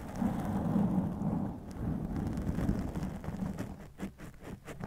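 Both hands scratch and rub fingertips and nails over a soft black foam windscreen covering a white microphone. The result is a dense, rumbling, crackly scrape, heavy in the low end, that thins toward the end into a few quicker, brighter scratching strokes.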